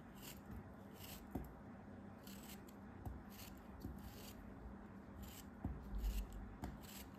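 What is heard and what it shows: A hand-sized, solid packed block of orange kinetic sand, held in the hand and steadied by fingers with long dark-painted nails, is sliced and scraped with a metal craft knife blade. Quiet, gritty scraping and soft crumbly rasps are broken by a few sharper blade ticks, with brief bursts of bright hiss over a low rumble.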